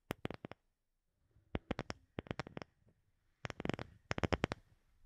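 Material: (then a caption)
Wood. A palm-sized, round, light-colored wooden disc that looks solid is tapped and scratched with long fingernails. Three bursts of quick, sharp, dry clicks are heard, each with a bright edge and almost no ring, separated by short near-silent gaps. Faint scratching fills in between the taps.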